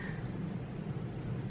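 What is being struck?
Nothing is struck.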